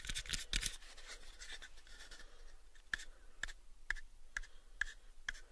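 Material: Wood.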